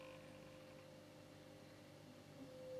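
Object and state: Nothing is struck.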